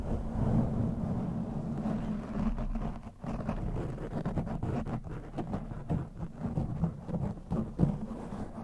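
Two hands with short teal-painted nails scratch and rub both sides of a soft, fist-sized black foam windscreen fitted over the head of a round microphone, like a scalp massage. The result is a dense, muffled low rumble with a steady hum-like tone near 145 Hz, broken by soft crackling scrapes and brief dropouts, with almost no bright content.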